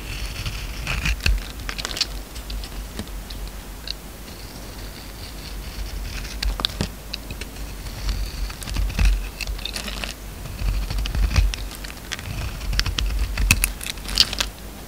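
A steel utility knife blade shaves and scrapes thin curls off a hand-held oval bar of solid orange soap with a black speckled coating. The result is a steady run of soft, crisp scraping and pattering ticks with bright edges, over a low background rumble.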